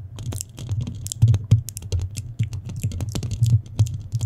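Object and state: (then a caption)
Metal microphone grille scratched with nails. Long nails of both hands scratch quickly across a black metal mesh microphone head. This makes a dense, rapid stream of scratchy clicks over a heavy low rumble, with brighter ticks and louder bumps scattered throughout.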